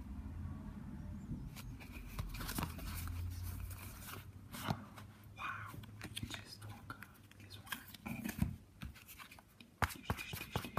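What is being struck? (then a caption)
Stack of laminated paper trading cards. A thick stack of Yu-Gi-Oh trading cards, made of thin laminated cardboard, is held in both hands over a wooden table and riffled and flipped through by the fingertips. The card edges slide and rub together in a soft, steady rustle, broken by quick, bright flicks and snaps as cards spring free. A low, muffled rumble runs underneath throughout.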